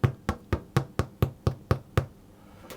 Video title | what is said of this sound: Soda Bread | wenn ich es auf die Seite drehe und auf den Boden tippe das fühlt sich schön und hohl an